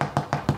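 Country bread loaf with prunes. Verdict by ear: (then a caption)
Hollow. Five quick taps on a baked country loaf with prunes (loaf number 1) give short, hollow, low thuds centered around 145 Hz with almost no high-frequency content. The hollow sound shows the bread is properly baked through.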